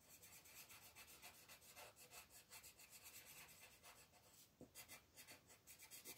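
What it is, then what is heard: Paper coloring page being colored. A wooden colored pencil tip rubs a thin paper mandala coloring page lying flat on a table in short, repeated coloring strokes, while the other hand, with long red nails, rests flat on the sheet. The result is a quiet, bright, scratchy rasp that rises and falls in a steady rhythm of quick strokes, with little low end.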